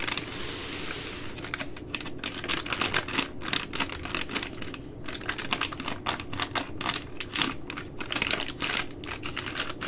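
Long nails tap and scratch the crinkly plastic film at the end of a full three-pack of plastic-wrapped baby wipes. It opens with a steady bright scratching hiss, then turns into a rapid, dense run of sharp, crisp taps and crackles that die away almost instantly.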